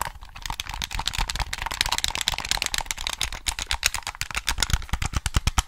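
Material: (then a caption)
Plastic. Fingertips tap and click the buttons of a black, hollow plastic PS3 game controller held close to the mic. A rapid, uneven run of about thirty short, dry plastic clicks and taps, each bright on top with a soft low thump and almost no ring.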